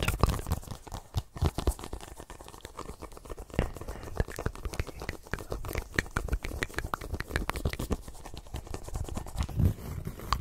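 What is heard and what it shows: Fingertips and nails tap and scratch a small, hollow, inflated yellow and black soccer ball with a synthetic leather cover, close to the microphone. The result is a dense, uneven stream of quick, dry taps and scratchy rustles with a strong low thump and no ring. A few louder knocks stand out near the start and end.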